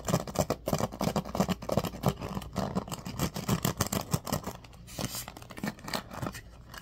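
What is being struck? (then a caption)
Bamboo paddle hairbrush with pin bristles. A bamboo paddle hairbrush is held upright while fingertips run along and scratch its pin bristles. The result is a rapid, irregular run of dry, scratchy ticks and rustling strokes over a low, soft rumble. The scratching grows quieter and sparser toward the end.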